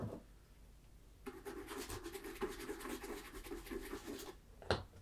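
A hollow, empty tan leather ankle boot (Tricker's Stow) is held on its side on a table while fingertips wrapped in a polishing cloth rub and scratch across its leather toe and vamp. After a quiet start, a steady stretch of dry, rasping scratching runs for about three seconds with a faint hum beneath it. A sharper brush comes near the end.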